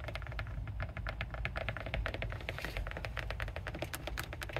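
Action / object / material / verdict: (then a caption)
tap / rubber car tire sidewall / rubber / none. Long fingernails fitted with colored metal paperclips tap and scratch along the sidewall of a mounted rubber car tire embossed with the words TREADWEAR and TRACTION. Rapid, dense, dry clicks run over a steady low rumble throughout.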